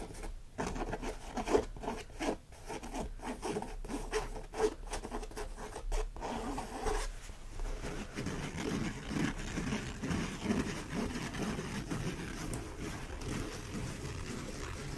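A large, empty orange cotton canvas tote bag printed "A Bag of Books" lies flat while fingertips and nails scratch and rub across the fabric, then along its stitched hem. The first half has quick, zipper-like scratching strokes that cut in and out. The second half turns into a steadier, soft rubbing texture.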